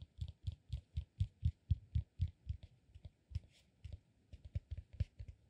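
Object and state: Cork peanut massage ball.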